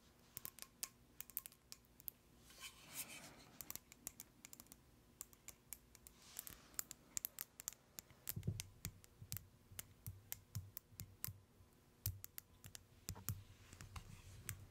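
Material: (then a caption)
Plastic. A small white cylindrical plastic tub with a black lid and a label is tapped with long nails close to the mic. It gives quiet, sharp, dry clicks in an irregular, slow rhythm, with brief soft scratchy brushes and a few duller low thumps in between.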